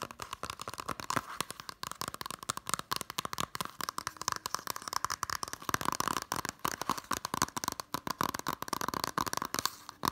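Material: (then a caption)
Plastic, cardboard. Fingertips and nails rapidly tap and scratch the front, then the back, of a Totoro Blu-ray: a small, flat, hollow case in a green printed cardboard slipcover. The result is a dense stream of short, dry, papery clicks and scrapes with a midrange tone around 1 kHz and bright crinkly edges, and almost no low end.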